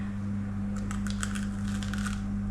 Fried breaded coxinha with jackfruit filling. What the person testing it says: Ouviram? Como ela tá crocante.